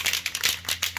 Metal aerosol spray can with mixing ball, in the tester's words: give it a really good shake and once you hear the ball rolling or rattling